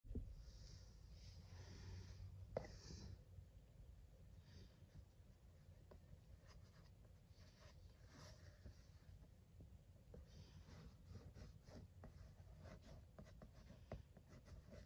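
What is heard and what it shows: Fingertips tap and rub across the printed front of a closed, flat rectangular cardboard box of Motichoor Ladoo, a 350 g frozen dessert, as it lies on a rug. Soft, dull taps and papery scratching brushes sit under a low, muffled rumble, with a few sharper clicks standing out.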